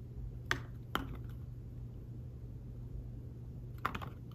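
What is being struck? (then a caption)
Fabric-covered tablet keyboard. Fingertips tap on a thin folio tablet keyboard with fabric-covered keys, giving four soft, short clicks: two close together near the start and two more near the end after a quiet gap. Each tap is dull and dies away almost at once over a steady low background hum.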